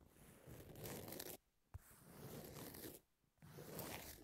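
Long nails scratch the gritty surface of a long, thin, flat, solid emery nail file with pink edges lying flat. Three rough, broadband scratching passes are separated by two short pauses, with a sharp click in the first pause.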